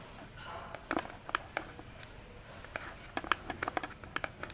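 Long nails tap and scratch across the front of a small orange cardboard box held upright on a table. About fifteen quick, dry taps land in irregular clusters, each a sharp, bright click centered around 1.2 kHz that stops at once with no ring. Between the taps, a soft scratchy hiss drags across the surface.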